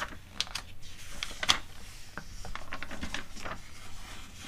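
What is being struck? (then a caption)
Glossy paper magazine. Long acrylic nails tap and scratch across the spread of an open glossy paper magazine catalog resting on a rug, making quick, bright clicks and dry papery scrapes. Near the end, one page is turned with a soft rustle.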